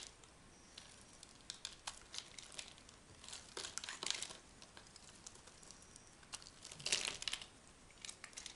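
A hand-sized, orange-and-white striped bar of dry Dura soap is held in the palm and scraped and carved with a small metal knife, shedding curls and flakes. The blade makes dry, crisp, crinkly scraping and crumbling sounds that are bright and thin with almost no low end. Louder bursts come in the middle and near the end.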